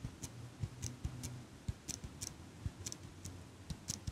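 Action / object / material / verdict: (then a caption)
tap / metal eyelash curler / metal / none. A small chrome and gold metal eyelash curler with scissor-like handles is held close to the mic while long pink nails squeeze and click the handles and tap the frame. About a dozen short, sharp metallic clicks and taps land at an uneven pace, each with a bright tick and a soft low thump that dies almost instantly. A faint low hum sits underneath.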